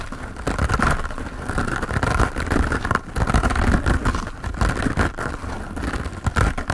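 Fingernails scratch fast over a hand-sized grey textured foam sponge set on a tan foam base, solid and porous, held in both hands. The result is a dense, continuous rustling scrape, heavy in the low end with a steady band near 1–1.5 kHz, swelling and dipping in short bursts throughout.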